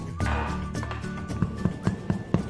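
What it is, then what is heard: Hollow-sounding, well-baked soda bread loaf. A freshly baked loaf of Irish soda bread, just out of the oven after 20 minutes at 200 degrees and 10 more minutes in the switched-off oven, is tapped five times over soft background music. Each tap gives a short, low, hollow-sounding thud, and that hollow sound shows the bread is well baked through.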